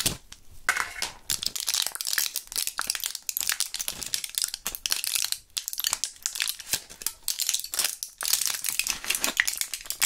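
Gloved fingers crush a small, partly empty clear plastic blister pack of Thrills gum with a foil backing, pushing the remaining purple gum pellets out through the foil. The result is a dense run of bright, sharp plastic crinkles and crackling foil pops with almost no low end.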